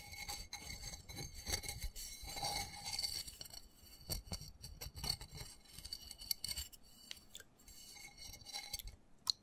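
Fingernails scratch and tap quickly on the patterned side of a small, black, textured plastic flower pot holding soil and a cactus. The sound is a dense run of dry, bright scratches and light ticks with a steady high hiss underneath, and each tap stops at once with no ring.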